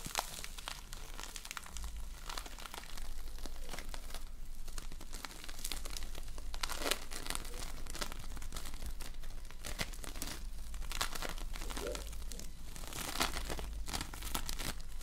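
Fingers press, stretch and knead a lump of polystyrene foam bead slime (floam) studded with small colored foam beads. A dense, continuous run of crunchy crackles and crinkling pops plays over a steady low hum, with brighter bursts around the middle and near the end.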